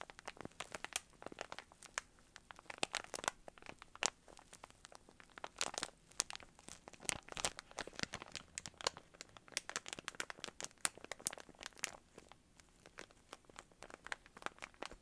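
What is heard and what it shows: A small clear plastic bag filled with soft yarn pom-poms, with a cardboard header at the top, is squeezed and crinkled by the fingertips. Dense, quiet, bright crinkling plays throughout as many short, crisp crackles with almost no low end.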